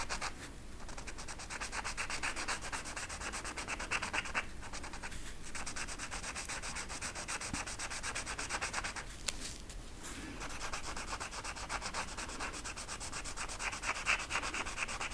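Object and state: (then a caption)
Flocked velvet poster being rubbed. A marker is rubbed repeatedly over the pile of a flat flocked-velvet art poster lying on a table while coloring its lower feathers. The result is a steady, bright, raspy scrubbing sound with a few brief pauses in the strokes.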